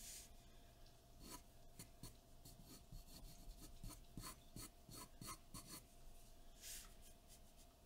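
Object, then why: Graphite pencil on a sheet of drawing paper. A graphite pencil held in the fingertips sketches and shades across a large sheet of white drawing paper taped flat to a dark board. It makes quiet, continuous scratching and rubbing with short, bright, raspy strokes. A faint steady tone runs underneath.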